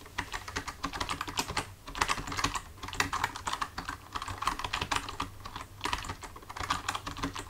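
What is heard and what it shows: Fingertips of both hands type on a full-size black plastic computer keyboard resting on a desk, with the hands staying on the keys throughout. Quick, dry clicking taps come in uneven bursts with brief lulls. A faint steady low hum sits underneath.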